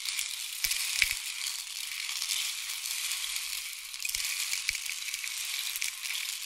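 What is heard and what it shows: A long, hollow, painted wooden or bamboo rain stick is held near the ear and tilted, sending pellets trickling down inside. The result is a steady, bright, hissing cascade with a few sharper clicks standing out.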